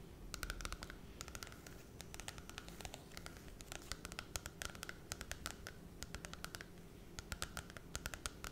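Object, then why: Glossy cardboard book cover. Long red nails scratch and tap the glossy holographic cardboard cover of a small Cinderella children's book held in both hands. Dozens of sharp, dry clicks fall in quick irregular bursts over a soft scratchy rustle and a low steady hum. Each tap dies away almost instantly.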